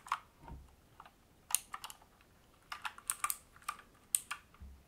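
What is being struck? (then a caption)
Mechanical keyboard, plastic keycaps on metal plate. Both hands type with their fingertips on a full-size AUKEY KM-G3 mechanical gaming keyboard, with black plastic keycaps on a brushed metal top plate, resting on a wooden desk. Quick, bright, sharp key clicks come in irregular bursts, along with a couple of softer, lower thumps.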